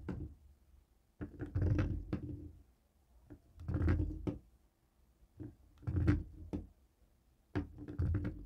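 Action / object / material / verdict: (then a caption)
tap / plastic TV remote tapped with a stone roller / plastic / none. A dark grey plastic cable TV remote lying on a wooden table is knocked and tapped with a jade roller. Short clusters of dull, low, hollow knocks with a slight resonant tone come in uneven bursts and are separated by brief quiet pauses.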